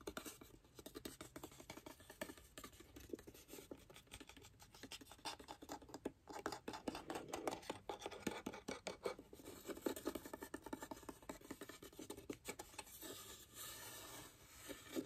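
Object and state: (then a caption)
Wooden box lid scratched. Fingertips and nails scratch and rub the lid of a light, varnished, hollow wooden box with a brass latch, held in the hand. The result is a quiet, dense run of irregular scratchy taps and brushing strokes, mostly in the low-mid range with some bright hiss. Each sound dies away quickly and dryly.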